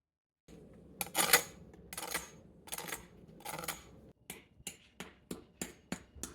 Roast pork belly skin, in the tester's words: you can hear how crispy it sounds